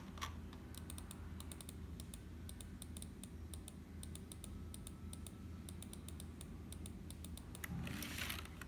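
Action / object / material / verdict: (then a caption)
tap / plastic membrane computer keyboard / plastic / none. A single fingertip slowly presses the hollow keys of a black HP plastic membrane keyboard, then both hands type on it. Sharp, bright plastic clicks sound over a steady low hum, with a denser, brighter flurry of keystrokes near the end.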